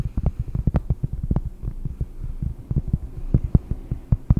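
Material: Cork.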